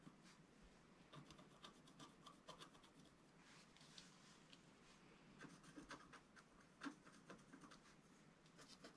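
A wooden stylus scratches across the bottom edge of a flat, black-coated scratch-art sheet about A4 in size, resting on a table while the other hand holds it. Quiet, dry scraping and rubbing strokes come in short bursts with bright, raspy edges. A louder scratch stands out near the end.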